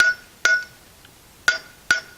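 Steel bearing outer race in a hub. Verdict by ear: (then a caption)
Solid. A steel outer bearing race is tapped into a trailer brake drum hub with four sharp metallic strikes, each ringing briefly with a bright tone near 1.45 kHz. The sound has turned solid rather than hollow, showing the race is fully installed and seated.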